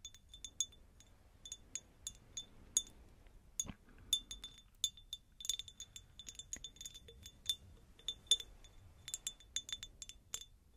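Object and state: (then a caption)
Cut glass jar, empty. A medium, hollow, empty cut-crystal glass jar is tapped with long nails in quick, irregular bursts. Each tap gives a bright, glassy clink with a ringing tone near 3.5 kHz that dies away almost instantly, over a quiet background.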